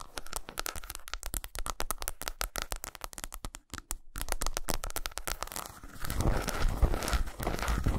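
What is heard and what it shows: Long pointed nails scratch and tap along the ridges of an unwrapped solid milk chocolate bar with segmented squares, lying on a towel. Fast, irregular crinkly scratches and light taps come in a dense stream, with a brief near-silent gap around the middle. The sound then returns louder and fuller, ending in a thick, rumbling scratch.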